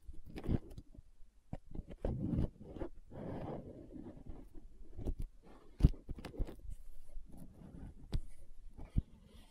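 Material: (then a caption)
Plastic. Long nails tap the side wall of a green plastic aloe gel tub held upright. The result is a quiet, uneven series of short, dull taps with a low body, mixed with soft scratchy rustling between them.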